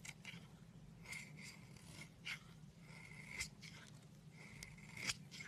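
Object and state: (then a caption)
Bar soap scraped with a knife. A steel knife blade scrapes across a solid white bar of soap, shaving off powdery flakes. Soft, dry, bright scraping strokes come in short bursts over a steady low hum, each stroke fading almost at once.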